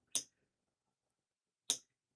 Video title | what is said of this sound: Unbox the Fold with Me - Dreaming Robots' New E-Spinner & My Thoughts | I kind of just want to tap it just to hear that little metal tap